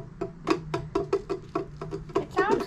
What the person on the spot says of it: the sides it sounds like plastic